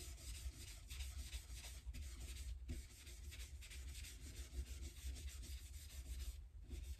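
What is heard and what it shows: A hand vigorously rubs and wipes the dark rosewood fretboard with metal frets on the unstrung neck of an Epiphone Casino hollow-body electric guitar, using a folded white cloth. The result is a steady, breathy scrubbing hiss with bright rasping strokes over a low rumble, continuing throughout with a few brief pauses.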